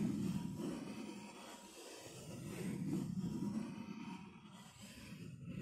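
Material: Nothing is struck.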